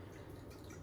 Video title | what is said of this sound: Black & Decker Portal Washing Machine 2 YEAR UPDATE!! | I usually just kind of shake this part. I keep this up. You can hear the water.